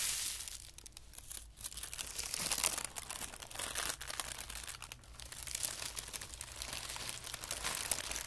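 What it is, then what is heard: Tissue paper being crumpled. A thin white tissue paper sheet is gathered up and crumpled by both hands on carpet. It gives a steady run of dense, bright crinkling and crackling, mostly high-pitched with little low end. Louder bursts swell and fade as the paper is squeezed.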